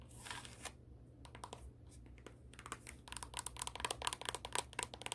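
Long acrylic nails scratch and tap the tan sole of a black high-heel shoe. Soft brushing scratches in the first half give way to a dense run of quick, sharp clicky taps with a bright edge. A steady low hum sits underneath throughout.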